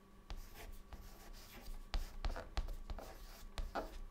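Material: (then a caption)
Chalk. A white chalk stick held in the fingertips writes words on a flat, dark, solid chalkboard. Quiet scratchy strokes are broken by short, sharp taps and clicks as the chalk meets the board, at an uneven pace. A faint steady low hum sits underneath.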